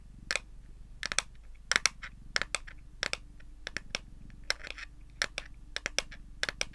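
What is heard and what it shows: Long green and pink nails tap and scratch the back and edges of a smartphone in a pale lilac plastic case held in both hands. Sharp, bright clicks come in quick clusters, with short scratchy rasps between them, over a steady low hum. Each tap dies away almost instantly.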